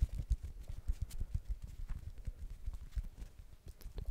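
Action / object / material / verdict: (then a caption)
tap / plastic ball / plastic / none. A blue plastic ball is tapped in quick, irregular taps, each a short, dull, low thud that dies away almost at once, much like soft hoof clip-clops.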